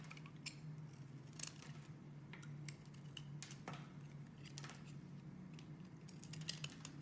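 A metal utility-knife blade shaves and scrapes along the edge of a solid rectangular cream-white bar of soap embossed with "dalan" lettering, held in one hand, chipping off small flakes. Quiet, crisp scraping strokes and bright, short scratchy ticks repeat over a steady low hum.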